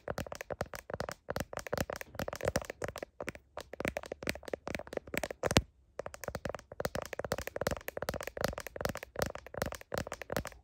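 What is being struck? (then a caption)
Smartphone in plastic case. Long nails tap sharply and rapidly on a smartphone's blue plastic heart case and its camera bump, making a dense run of short, dry clicks with a mid-range knock and a bright edge. The tapping stops briefly just before the six-second mark, then picks up again at the same quick pace.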